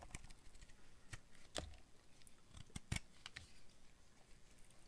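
A hand-sized solid red bar of dry soap with a dark coated rim, held in one hand, is cut and scraped with a utility knife blade, shaving off curled pieces. Quiet, dry crackling scrapes are broken by short, sharp snaps and clicks that stop almost instantly, some ringing bright.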